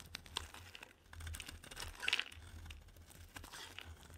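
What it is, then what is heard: Bar soap being shaved with a blade. A solid pink bar soap held in the hand is shaved with a metal utility knife blade into curls. The result is a dry, bright crinkling and scraping made of many quick crackles over a faint low hum, with a louder burst of crunching near the middle.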